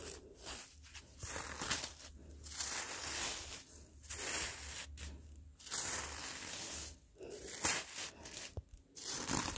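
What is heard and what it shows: Gloved fingertips scratch and drag through crusty, icy, granular snow on the ground, leaving finger grooves in the surface. The result is a series of bright, gritty crunching and scraping bursts with short pauses between them, and a faint low hum runs underneath.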